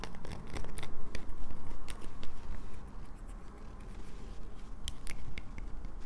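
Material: Soap.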